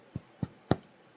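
A mini sourdough loaf, hot from the oven, is tapped with the fingers: four short, dull, low thuds, the third loudest and the last faint, each dying away almost at once. The hollow thud means the bread is baked through and done.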